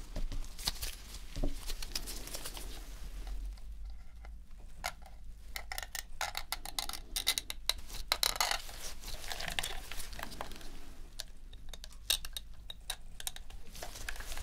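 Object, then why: Plastic game controller. A metal pick scrapes along the seams around the touchpad and thumbsticks of a dirty, hollow white plastic PS4 controller held in gloved hands during a deep clean. Rapid, dry scratching and bright ticking clicks come in uneven bursts, with brief pauses, over a steady low hum.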